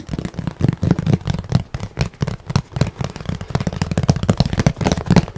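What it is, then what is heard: Painted canvas board. A thin, rigid, flat painted canvas board with a forest scene is held upright and tapped and scratched quickly with the fingertips across its surface. The result is a fast, steady stream of dull, low knocks with almost no ring, mixed with faint, soft scratching.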